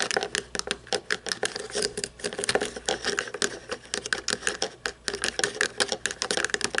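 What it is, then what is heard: Plastic toy truck. A small toy monster truck with a chrome plastic chassis and plastic tires is held turned over in the hands while long painted nails tap and scratch the chassis. Rapid, crisp clicks and brief scratchy rasps follow one another throughout, bright and light with almost no low end.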